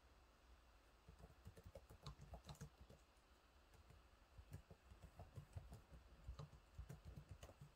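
Fingertips type on the low-profile plastic keys of a silver laptop keyboard, producing a quiet, continuous patter of repeated taps. The taps are soft and mostly low and thuddy, with faint bright clicks that stop almost instantly. They come in two bursts, with a brief lull in between.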